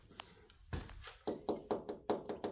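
A finger or fingernail taps about ten times on the steel body panel of a classic car to tell original metal from fiberglass repair. The short, dull knocks have a mid-range tone around 400 Hz and die away almost at once. The panel is confirmed as metal.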